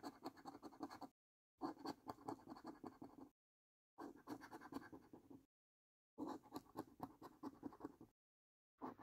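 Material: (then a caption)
Coated card. A coin edge scratches across the symbol rows of the same paper lottery scratch card in quick, gritty strokes. The scratching comes in four bursts of about one to one and a half seconds each, separated by short silences, with a fifth burst starting at the end. The rasp centers in the low midrange with a bright papery edge.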